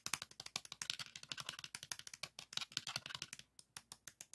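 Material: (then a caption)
Plastic. A green 3.5-inch plastic floppy disk with a metal hub, black shutter area and thin hollow case is held in the hands and tapped and rubbed with fingertips. About 33 quick, dry, bright clicks and taps follow one another in a steady run, each dying out almost instantly with very little low end.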